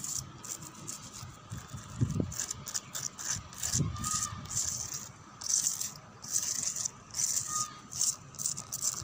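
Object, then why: Whitewashed concrete lattice wall. Fingernails scratch and tap along the edges of the bars of a solid, whitewashed concrete lattice wall and pillar outdoors. Dry, bright scratching comes in short repeated bursts, with a couple of dull low thumps from tapping near the start. There is a faint steady hum underneath.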